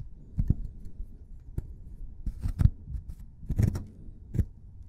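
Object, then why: Plaster block scraped with a plastic brush. A white plastic brush scrubs and scratches a solid plaster excavation block, loosening plaster dust. Short, dry scraping strokes with bright gritty edges come in irregular bursts over a soft, low, rumbling bed. Each stroke stops abruptly with almost no ring, leaving a quiet, close, scratchy texture.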